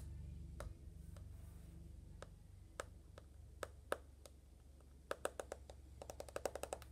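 Long nails tap the glass screen and then the aluminum back of an uncased rose-gold iPhone, a smartphone with a glass front and aluminum body. Short, sharp, bright clicks with almost no ring come irregularly at first, then in a quick burst at the end, over a steady low hum.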